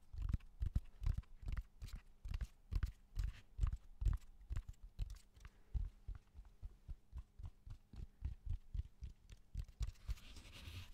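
Fingertips and nails tap along the rough, textured surface of a large, flat, solid slab of raw cork oak bark held in both hands in front of the mic. The result is a quick, uneven run of soft, dull, low thumps with almost no ring, ending in a faint, brighter scratchy texture.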